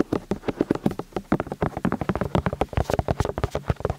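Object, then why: Silicone ears of a binaural microphone. Fingertips and nails tap and scratch the silicone ears of a white binaural microphone on a stand, the ears set in plastic housings and worked from both sides. A quick run of soft, muffled taps with short bright scratchy edges follows, each dying away almost at once, about 29 hits in four seconds.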